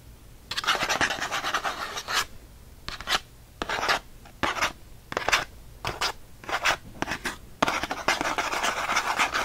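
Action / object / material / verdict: scrape / thin cardboard packaging card / cardboard / none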